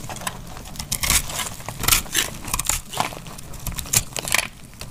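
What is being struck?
Bar of laundry soap cut with a knife blade.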